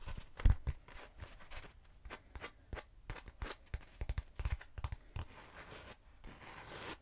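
Long nails tap and scratch the surface of a short, hollow black foam cylinder. The sound is an uneven run of dry, muffled, low thumps with very little ring. It ends in a softer, hissy scratching sound.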